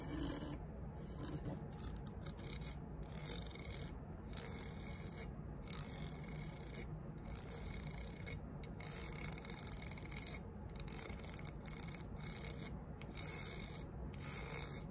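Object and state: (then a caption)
Metal rafter square scratched with nails. Long fingernails scrape and scratch across a thin, solid, gray triangular metal rafter square with engraved scales, held against a table edge. The result is a steady, rasping, file-like scratching with a low rumble underneath and brief pauses between strokes.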